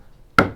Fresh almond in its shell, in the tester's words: パカッっていう音がするんですね。そうすると中の硬い殻まできれいに割れています。